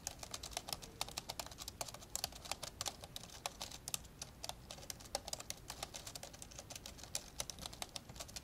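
Fingertips type fast with both hands on the plastic keys of an old dark grey plastic laptop lying open. The result is a steady, quiet stream of dozens of sharp, bright, clicky taps that stop almost instantly, with little low-end weight.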